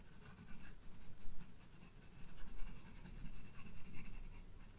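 A sharp graphite pencil draws small detail strokes at the top of flowers on the white paper page of a spiral-bound sketchbook. Quiet, soft scratching comes in uneven swells of short strokes, with faint brighter rasps over a low rumble.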